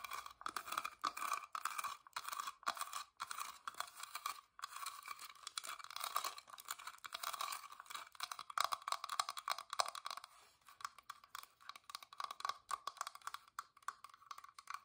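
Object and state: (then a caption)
Carved wooden box. Long nails tap and scratch the pierced floral carving and frame of a small, hollow, whitewashed wooden box with a carved lid, held upright. The result is a dense, continuous run of quick, dry clicks and raspy scrapes, centred in the midrange around 1 kHz with a bright edge and almost no low end. The taps and scratches stay short and crisp, with no ring after each one.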